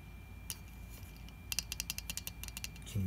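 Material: Plastic.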